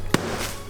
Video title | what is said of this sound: BAKE WITH ME! Baking in PJ'S because WHY NOT! | sounds like a rock hitting the ground